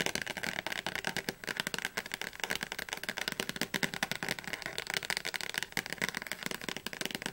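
Long fingernails rapidly tap the glossy blue cover and spine of a thick, closed softcover Oxford Advanced Learner's Dictionary held in the hands. The result is a fast, steady stream of dry, bright clicking taps with almost no low end, each dying away almost instantly.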